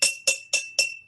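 An empty glass jar is tapped four times with a knife, giving bright, evenly spaced clinks that each ring briefly at a high pitch near 2.7 kHz. This is the jar's baseline pitch before any water is added.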